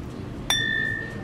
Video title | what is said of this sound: $800 For a Side Table- Day 4 | it Tings it rings yeah these are crystal